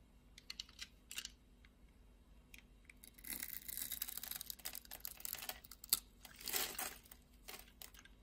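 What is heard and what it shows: A hand with long red nails holds a solid red bar of soap in its palm while a utility-knife blade scores a grid into the surface and scrapes off small cubes. Sharp, bright scratching clicks are heard at first, then build into denser, crisp cutting and scraping bursts before tapering back to scattered light ticks.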